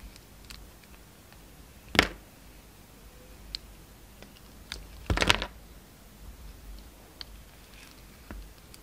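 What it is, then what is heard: Bar of soap being shaved with a blade. A utility knife blade shaves slices off a solid, rectangular, translucent red bar of soap with dark spots, held in the palm. Seven sharp, crisp scraping cuts ring out irregularly against a quiet hiss. The strongest cuts fall near the 2-second mark and in a longer burst around 5 seconds, each dying away almost instantly.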